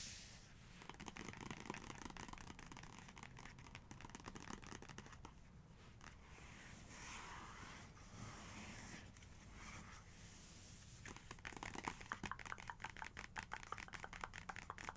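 Long nails tap quickly and scratch on a large photo page of an open photography book. Rapid, crisp paper taps alternate with softer, papery scratching and tracing in the middle, then the fast tapping returns a bit louder and brighter toward the end.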